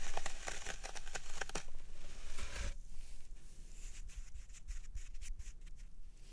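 Fingertips and nails press and poke into the dented top of a large solid green floral foam brick resting on a wooden tray. Quick dry crunching and crackling taps come in a rapid run, then sparser, softer pokes follow.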